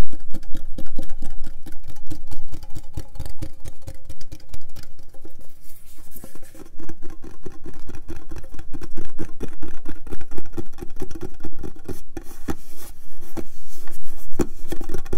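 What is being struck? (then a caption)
Round metal tea tin. Fingertips and nails scratch and tap the lid and sides of a round, decorated, hollow metal Richard-brand tea tin held close to the microphone. A fast, steady stream of short, dry taps with low, hollow thumps runs throughout, with bright scratchy bursts standing out near the end.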